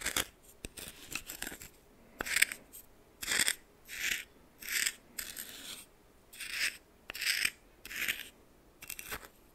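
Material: Salt.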